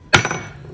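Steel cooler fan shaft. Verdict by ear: Soft.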